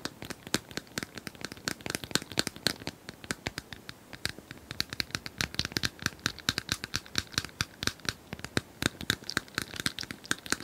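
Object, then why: Small plastic cylinder puzzle toy. Long nails scratch and tap a small plastic cylindrical puzzle toy with colored tiles, seemingly hollow and held horizontally. Rapid, bright, dry clicks and scratchy crinkling follow one another in an irregular stream, each dying away almost instantly.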